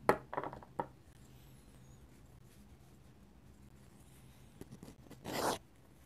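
A steel dip pen nib, held in the fingers, scratches curved ink lines across a flat paper sketchbook page. Three short, bright scratchy strokes come in the first second, followed by a long quiet stretch with faint low hum. A few soft ticks and one longer, louder scratching stroke come near the end.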